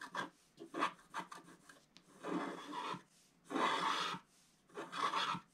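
A wooden stylus scratches through the black wax coating in the center-left area of a flat scratch art sheet held down by one hand. Several quick, dry rasping scratches are followed by three longer, steadier strokes with a gritty, papery hiss centered around 1 kHz, with faint quiet gaps between them.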